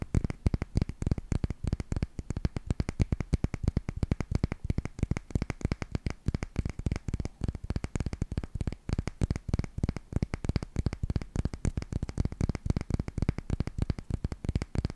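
A solid, palm-sized, flat oval grey stone is held in both hands and tapped and scratched with long nails. The result is a steady stream of rapid, dry, clicky taps with a low, thumpy body and almost no ring, continuing evenly for the whole clip.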